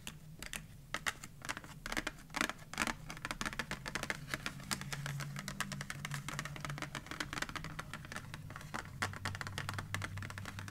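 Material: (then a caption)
Cardboard. Long manicured nails and fingertips tap and scratch the top of a closed, flat white printed cardboard merci chocolate box lying on a wooden table. The result is a quiet, rapid stream of short, dry clicks and light scratches, with a low steady hum underneath.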